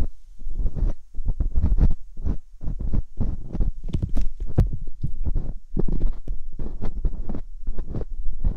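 Metal dental picks scrape inside the ear canals of the silicone ear molds on a binaural microphone. The result is a steady run of short, dull, low thumps and rumbling scrapes, each with brief faint higher ticks, and almost all the energy sits deep in the bass.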